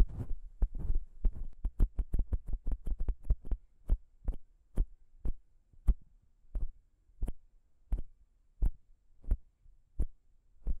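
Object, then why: Metal microphone capsule. Long pink nail tips on both hands scratch and tap the small chrome metal microphone capsule of a Zoom H6 recorder. About 29 short, dull, bass-heavy thumps sound with almost no ring. They start as a quick, dense flurry with scratchy texture, then slow to evenly spaced single taps over a low hum.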